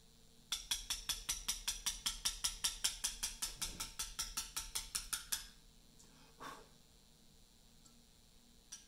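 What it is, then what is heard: Portland limestone block being chiselled. A small metal chisel, struck by a round mallet, cuts letters into the top face of a large, solid, pale Portland limestone memorial slab resting on a bench. It makes a steady, rhythmic run of sharp, bright, dry taps and chips for about five seconds, with little low end and almost no ring. Then there is a pause, a single softer tap, and a faint final click.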